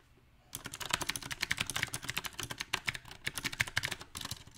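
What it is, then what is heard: Mechanical keyboard with round plastic keycaps being typed on. Both hands type with their fingertips on a compact backlit mechanical keyboard with round plastic typewriter-style keycaps. After a brief quiet moment, a quick, uneven run of sharp, bright clacks follows, each key tap short and dry. The faint low thump of each key bottoming out sits under the clicks.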